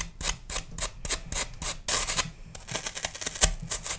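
A metal knife scrapes and carves the surface of a hand-sized, solid, pale green floral foam block held in one hand over a plastic tub, with crumbs falling away. Rhythmic, bright, dry scratching strokes repeat, then quicken into faster, denser rasping in the second half.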